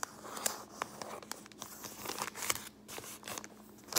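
An empty brown kraft paper lunch bag, held up in both hands, is crinkled and rubbed with long painted fingernails and fingertips. Soft, dry rustling runs throughout, broken by sharp, bright crackles and snaps over a faint steady low hum.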